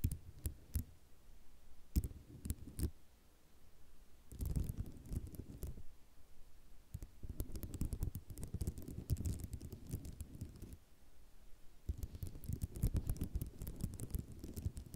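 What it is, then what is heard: Ceramic mosaic tile sheet. Long rhinestone nails scratch and tap fast on a solid white ceramic mosaic tile sheet. Sharp, quick clicks alternate with dense bursts of scratchy rattling, with the energy sitting mostly in a low, dull thud range. Quiet gaps separate the busy stretches.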